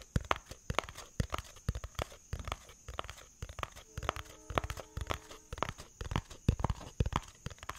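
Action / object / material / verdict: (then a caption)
tap / cardboard box / cardboard / none. A hollow yellow-tan cardboard box is held in the hands and tapped and scratched with fingertips and nails. The result is a quick, uneven run of short, dull, low thumps that die out almost at once, mixed with soft scratchy rustles. A faint steady high tone hums underneath throughout.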